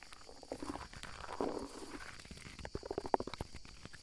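Fingertips and nails scratch and rub the mossy bark of a large, solid fallen tree trunk lying on the forest floor, close to a microphone. Soft, dry scraping swells and fades, broken by sharper clicks and crackles in the second half.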